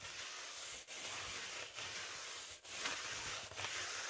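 A spoolie brush scratches and brushes across the surface of a large, inflated blue metallic foil (mylar) balloon. It makes a steady, bright, hissing crackle that breaks into four strokes separated by short dips near 0.85, 1.7, 2.6 and 3.5 seconds.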